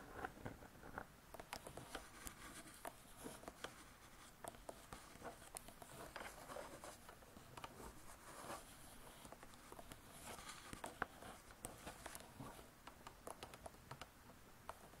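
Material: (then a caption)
Laminated board. Long fingernails on both hands scratch and tap across the laminated board cover of a closed spiral-bound hardcover cookbook. The result is a quiet, steady stream of crisp, bright taps and dry scratching that keeps going throughout, with each tap dying away almost instantly.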